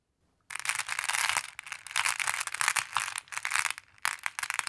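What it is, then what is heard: Glass decorative pebbles. Long blue-painted nails and fingertips rake through a large wooden tray full of small, solid, multicolored flat glass pebbles, making them clack against each other. After a brief silence, a dense, bright clatter of tiny glassy clicks starts and surges in waves, dipping briefly between strokes before picking back up.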